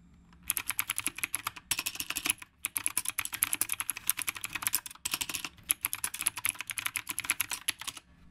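Fingertips type steadily on a retro typewriter-style mechanical keyboard with round plastic keycaps. Dense, bright, sharp clicks run throughout the clip, broken by a few brief pauses.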